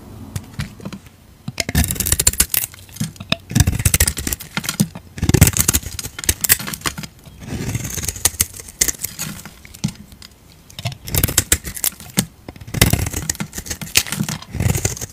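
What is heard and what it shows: A utility knife blade scrapes powdery flakes off a palm-sized, solid pink glycerin bar soap held in a hand with dark nails. Repeated bursts of dry, crackly scraping come in clusters with short pauses between them, carrying a bright, hissy edge over a low, rough body.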